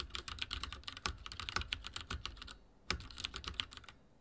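Fingertips type rapidly on a backlit mechanical keyboard with dark plastic keycaps and a silver frame, making a dense run of bright, sharp key clicks over a soft low thump. The typing pauses briefly near the middle, then resumes in another quick burst before trailing off.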